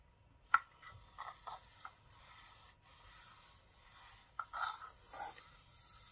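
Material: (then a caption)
Wood. Fingertips and short nails tap and scratch across the carved owl reliefs on the lid and sides of a small hollow wooden box held in the hand, then the box is turned so they tap on its plain wooden edge. Quiet, bright, dry taps with almost no ring alternate with soft raspy scratching against a near-silent background.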